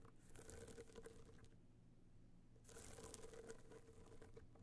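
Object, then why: Small rigid hollow box clutch with a metallic-coated shell. Long fingernails on both hands tap quickly over a small, rigid, hollow gold box clutch covered in metallic material with raised dots, resting on fur. The result is a fast, uneven patter of light clicks over a low, hollow hum. The tapping eases to a soft lull in the middle, then picks back up.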